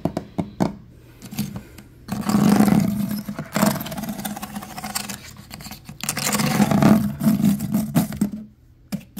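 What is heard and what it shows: Fingertips and nails scratch and tap along the vertical bamboo or reed slats covering the drawer fronts of a medium-sized solid wooden cabinet or dresser, and along its wooden top edge. Light, separate taps give way to two longer, louder stretches of ribbed, rattling scraping with a low tonal hum underneath. The clip ends with a few more quick taps.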